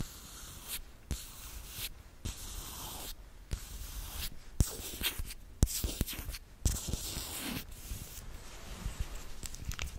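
A small, apparently full, rose-gold tinted glass dropper bottle of liquid makeup with a black dropper cap is held in both hands close to the mic and tapped and scratched with long metallic-polished nails. Bright, hissy scratching bursts alternate with brief quiet gaps, punctuated by sharp, short glassy taps that die away almost instantly.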